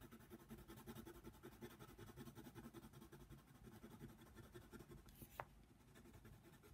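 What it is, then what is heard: Colored pencil on paper. A yellow wooden colored pencil, held in the fingers, scratches its tip over a thin white paper page of a coloring book lying flat on a table. Quick, rough back-and-forth coloring strokes repeat steadily as a soft, dry scraping. Near the end one brief, sharper tick stands out.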